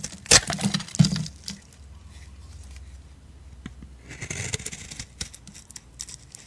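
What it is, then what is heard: Bar soap being shaved. A solid oval peach bar of soap is held in the hand and shaved with a blade. Crisp, bright scraping cuts and short dry ticks come in uneven strokes, strongest near the start, with a softer low hum between passes.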